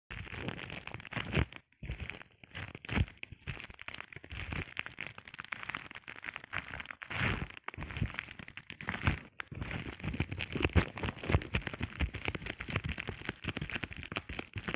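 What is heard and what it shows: A flat sheet of clear plastic bubble wrap lying on a table is scratched and tapped by fingertips and short painted nails. Dense crinkling, crackling scratches mix with soft, quick taps that have a low thump and a bright edge, with brief pauses between bursts.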